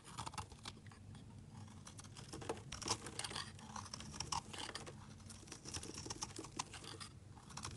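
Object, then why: Bar of soap cut with a utility blade. A hand-sized solid white bar soap embossed "Laura Colini" is held in the hand and shaved with a snap-off utility knife blade, carving off flakes. Quiet, continuous crisp scraping and crackling runs throughout, with many short bright bursts as the blade bites and curls into the soap.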